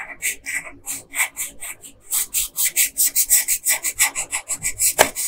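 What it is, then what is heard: Colored pencil scratching on paper. A yellow wooden colored pencil, held in a hand with long pink nails, rubs and scratches across a printed paper coloring sheet lying flat on a dark desk. About 22 dry, bright, raspy strokes are heard, slower and spaced apart at first, then quicker and more even with a stronger hiss.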